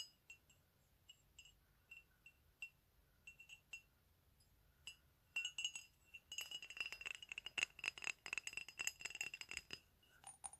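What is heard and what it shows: A small, hollow, empty white ceramic mug printed with "TEA" is turned in the hands and tapped with fingernails on its side and base. Sparse, quiet, bright clicks with a high ring near 2.7 kHz come first, then a faster, denser flurry of clinking taps with almost no low end.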